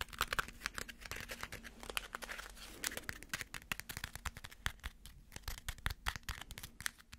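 A small crumpled ball of aluminum foil is held between the fingers and tapped with fingernails. A rapid, uneven series of sharp, dry clicks runs throughout, with a soft crinkling rustle between the taps and no ringing after each one.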